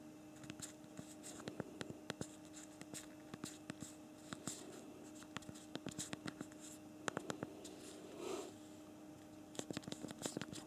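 Thumbs type on the physical plastic QWERTY keyboard of a BlackBerry Priv smartphone. Dozens of quick, dry, bright key clicks come in uneven bursts over a faint steady hum, with a soft rubbing swell near the end.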